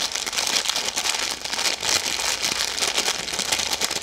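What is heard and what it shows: A full red plastic-film Maltesers snack bag is crinkled and twisted with long yellow nails. It makes a steady, dense stream of bright, crisp crackling with no low end.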